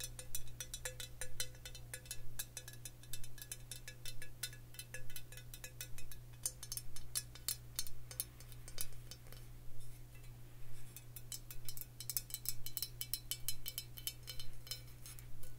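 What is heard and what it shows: Long fingernails tap on a glass whiskey bottle with a cork stopper, filled with amber liquid, making quick, bright clicks and clinks that die away almost at once. The taps come in steady, fairly even clusters over a constant low hum.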